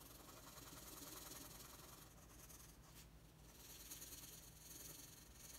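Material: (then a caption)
Paper. A red wooden colored pencil is rubbed across a thin, flat sheet of white drawing paper on a table in continuous shading strokes. It makes a steady, bright, scratchy hiss that dips briefly near the middle before resuming at an even level.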